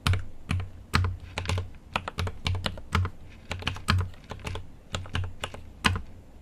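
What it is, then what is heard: Mechanical keyboard with plastic keycaps. A GMMK Pro mechanical keyboard with an aluminum case and plastic keycaps is typed on continuously with fingertips. Crisp, quick keystrokes arrive in an uneven rhythm, each with a deep, low thock body and a bright, clicky top that dies away almost instantly.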